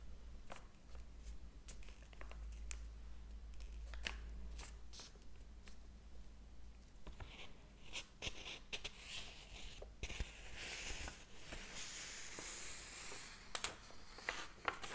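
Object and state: Paper book pages turning.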